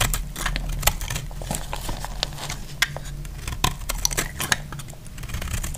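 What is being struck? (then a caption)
Soap bar. A solid, dry yellow soap bar held in the hand is shaved with a metal utility knife blade, producing crumbly yellow flakes. Many short, dry, crackling scrapes and crisp ticks follow one another over a steady low rumble, with bright, sharp peaks standing out as the blade bites.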